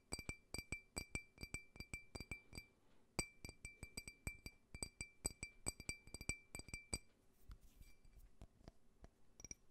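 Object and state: Faceted glass tumbler.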